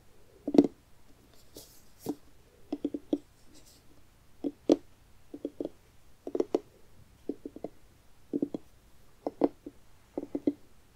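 Fingernails tap and scratch the firm orange rind of a medium, hollow, carved jack-o'-lantern pumpkin held in the hands close up. Quick clusters of two to four dry, hollow knocks centered around 290 Hz die away almost instantly, with a few faint, brighter scratches between them against a quiet background.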